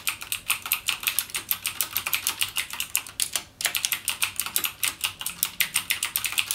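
Fingertips type rapidly on a backlit mechanical keyboard with plastic keycaps and Cherry MX Blue switches. Dense, bright, clicky keystrokes come in a fast, uneven stream with a brief pause just before the 4-second mark. Each press is sharp and dies away almost at once.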